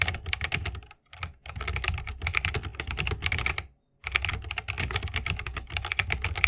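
Fingertips of both hands type continuously on a 60% mechanical keyboard with plastic keycaps and Holy Panda tactile switches, set in a bamboo wooden case. Rapid, bright clacks ride over a thocky low body, with two brief pauses near one second and four seconds before the typing resumes.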